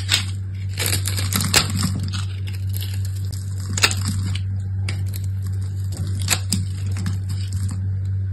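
A small solid purple bar of soap with gold-foil decoration, held in one hand with long manicured nails, is shaved with an orange utility knife blade. The blade scrapes off curls and flakes in bright, crisp crunching and crackling strokes over a steady low hum.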